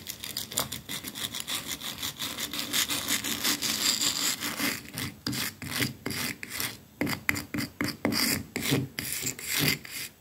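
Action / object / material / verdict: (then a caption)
scrape / painted plaster wall / plaster / none. A wooden-backed hairbrush with stiff dark bristles is held by hand and scrubbed back and forth against a flat, solid white painted plaster wall with a rough, pitted texture. It makes a bright, dry rasping scratch, first as a fast, steady run of strokes and then as slower, more separated swipes.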